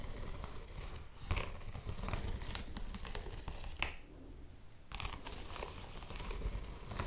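A yellow woven polypropylene bag held in both hands is scratched with long nails and crinkled by the fingers. The result is a steady run of dry crinkling and scratching with sharp bright crackles over a low rumble, which briefly quiets just after the midpoint before resuming.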